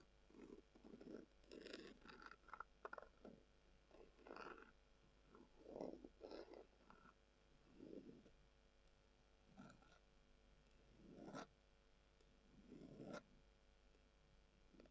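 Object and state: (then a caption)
Leather glasses case. Long acrylic nails scratch a brown, textured, leather-covered tubular glasses case, which is hollow. The sound comes as soft, rasping scratch bursts with a warm low-mid body, some with brief bright edges, separated by quiet pauses.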